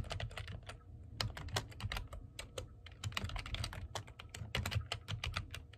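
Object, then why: Plastic computer keyboard. Fingertips type fast on a black plastic computer keyboard, producing a rapid, uneven stream of short, bright key clicks that stop almost instantly. A steady low hum runs underneath the typing throughout.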